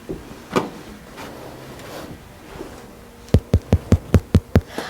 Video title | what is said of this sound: Making Irish Soda Bread | way to tell if your bread is finished is to pick it up and knock on the bottom and if it sounds hollow it means your bread is fully cooked